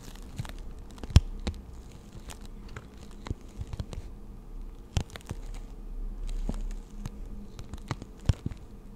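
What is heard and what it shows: Long nails tap and scratch a clear plastic blister pack of six pastel markers with a cardboard insert, held in both hands. Scattered sharp, quick clicks stand out over a soft, low rumbling bed with crinkly scraping in between. One tap near the start and another near the end ring out loudest.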